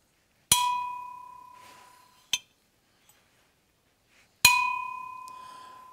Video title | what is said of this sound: Casting fluted bronze bells | Kind of a dull sound. It doesn't ring real bright. Also doesn't have a ton of sustain to it.